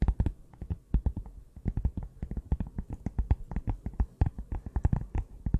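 Long nails tap and scratch the cardboard cover of a closed, small pink notebook held in the hands, producing a rapid, irregular run of dull, low, muffled taps. Each tap dies away almost instantly, with soft scratchy rustling between them.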